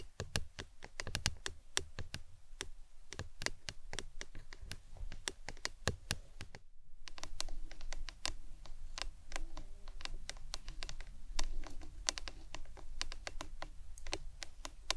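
A hollow printed plastic lemonade tumbler cup is tapped with long acrylic nails, first while it stands upside down and then while it lies on its side on a towel. Quick, dry, clicky taps follow one another in a steady rapid stream over a low, constant hum, with a brief pause just before the midpoint.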